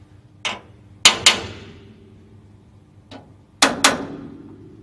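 A small inspection hammer with a metal head and wooden handle, held in a white-gloved hand, taps a large, hollow, grey-painted metal equipment cover on a Shinkansen roof, next to a ceramic insulator, during a hammering test. Six sharp, bright metallic taps ring out in pairs, with two lighter taps among them, each decaying quickly into a brief hollow ring with a faint low hum underneath.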